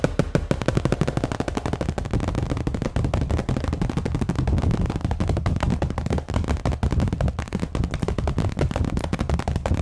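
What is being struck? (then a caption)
Thin clear plastic sheet. A thin, clear plastic sheet is held in front of the microphone and flexed, shaken and snapped while long nails grip and tap its edges. The result is a rapid, dense stream of sharp, short crackles and snaps with a heavy low thump and little high end, running steadily throughout.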